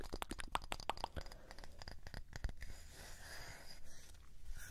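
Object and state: Wooden disc tapped and scratched.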